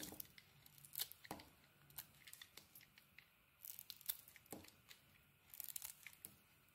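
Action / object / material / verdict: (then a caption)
scrape / bar of soap cut with a metal blade / soap / none. A solid red and white bar of soap is held in the hand while its edges are shaved with a metal utility blade. Short, bright scraping and crisp slicing sounds come in clusters, with quiet pauses between passes.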